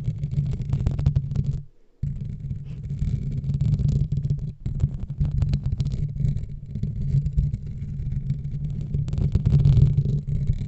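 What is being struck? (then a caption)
Foam microphone windscreen. A black foam microphone windscreen is scratched slowly with the fingernails of both hands. A dense, low, muffled rubbing and scratching runs throughout, with a brief silence near two seconds and a short dip before the five-second mark.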